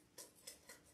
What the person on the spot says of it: it sounds like wood. Like, it doesn't sound plastic. It sounds like heavy duty wood.